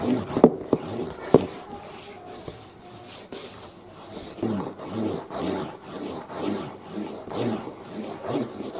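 Fingertips tap and drum on the glossy printed top panel of a medium-sized, hollow, printed cardboard UPS box lying flat. A few sharp, hollow taps open the clip, then give way to soft, rhythmic scratching and rubbing strokes that swell and fade in a steady pulse.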